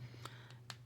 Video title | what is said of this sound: Motorola Edge Quick Overview | i don't get that on here at all i mean it it feels and sounds like glass to me